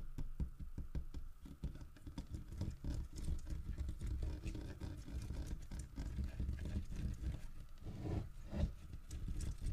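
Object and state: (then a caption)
Carved wooden bear statue scratched. Fingertips and nails scratch the carved underside and feet of a large, solid carved wooden bear figurine lying on its side. The result is a steady, dense scratching and light tapping texture that is heavy in the low end, with short dry strokes that die away almost instantly.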